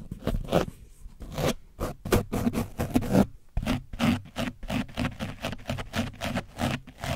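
A foam brush on a wooden stick is rubbed along the sides of an orange foam microphone cover coated in dried paint. It makes a quick, uneven run of rough scratching and scraping strokes with a heavy low-end rumble. The strokes pause briefly partway through before continuing.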